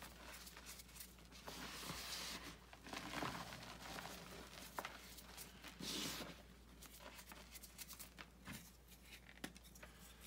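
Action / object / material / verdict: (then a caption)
scrape / gym chalk (magnesium carbonate) powder and blocks / magnesium carbonate / none. Bare hands scoop, squeeze and rub crumbled gym chalk (magnesium carbonate) and powder in a white bucket, with chalk discs at the side. Soft, dry, gritty crunching and crumbling rises and falls in bright rustling swells, broken by sharp little crackles, over a faint steady low hum.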